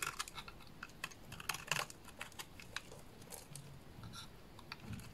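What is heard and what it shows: A solid purple bar of soap held in the hands is scraped and shaved with a small dark blade, breaking off crumbly curls. The result is a quick, irregular run of crisp, dry, bright scratching clicks with very short decay over a faint low background rumble.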